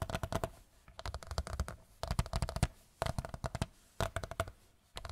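A large white picture frame is tapped with fingertips in quick bursts that repeat about once per second. Each burst is a fast run of short, dull, low knocks with a faint ringing tone near 650 Hz, and the taps die out almost instantly between bursts.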